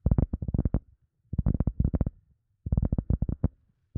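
An EVA foam sponge is tapped rapidly with the fingers in three quick bursts separated by short pauses, with a fourth burst just starting at the end. Each tap is a soft, dull, low thud that stops almost at once, with no bright edge.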